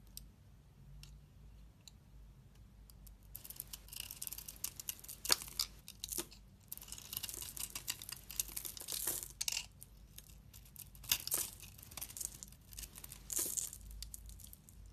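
A box cutter blade scrapes a solid, hand-sized rectangular dark soap bar with pink flakes on top and pink soap inside. Bursts of dry, crackly shaving sound come in bright, high scrapes and quick crunchy ticks, with quiet pauses between strokes.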